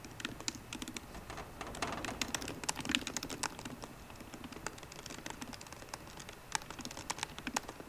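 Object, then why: Laptop keyboard, plastic keys in an aluminium body. Both hands type rapidly with fingertips and short painted nails on the low-profile black plastic keyboard of a 13-inch MacBook Pro laptop with a grey aluminium body, resting on a wooden desk. A dense stream of quick, dry, bright clicks comes with a soft low thump under each tap, around a pitch near 2.9 kHz. Each tap dies away almost instantly, and the typing is louder in the middle of the clip.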